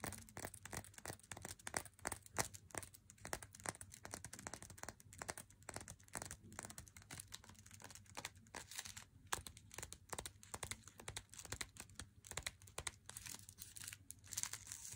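Long nails tap and scratch the front of a flat Lindt Swiss Classic cardboard box with the chocolate bar still inside, then run along its narrow side edge. The result is a quiet, dense stream of crisp, dry clicks and papery scrapes, bright and crinkly, each dying instantly without ring over a faint steady low hum.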